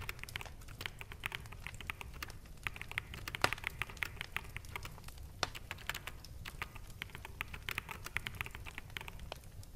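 Fingertips of both hands type on a full-size black mechanical keyboard with plastic keycaps. The result is a quiet, steady patter of rapid, irregular key taps, with short bright clacks over a soft low rumble and a few sharper, louder strikes mixed in.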